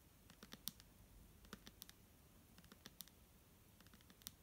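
Long polished nails tap the label side of a clear plastic Garnier micellar water bottle with a green cap, hollow and partly full of liquid, held in one hand. The result is a quiet, irregular run of short, dry, bright clicks with a faint low body, each dying away almost at once.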